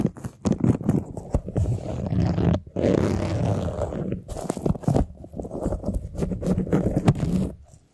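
Fingernails scratch across the ribs of a large, hollow, empty white flexible plastic duct tube held compressed, while the tube is tilted near the microphone. Rapid, dense clicking rasps alternate with a longer continuous scraping sweep in the middle, all carrying a deep, hollow, boomy resonance.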